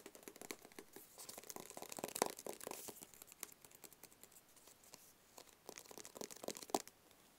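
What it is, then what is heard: Cardboard box. A small, hollow, rigid black cardboard box is held in both hands and tapped with fingertips and nails. The result is a quiet, rapid, irregular stream of short, dry clicks and taps with a papery, crinkly edge. A few sharper, brighter taps stand out near the middle and end.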